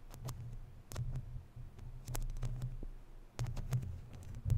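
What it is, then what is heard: Metal mesh microphone grille scratched. Long natural nails scratch across a hollow, round woven metal mesh microphone grille. The result is a dense, boomy low rumble, with brief bright scratchy clicks scattered throughout.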